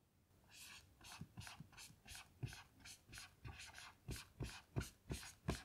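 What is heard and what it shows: A blue dry-erase marker writes letters in gliding strokes on a small melamine lap whiteboard lying flat. Thirteen short, squeaky strokes sound one after another, each a bright scratchy swipe over a soft low tap, growing louder and more distinct toward the end.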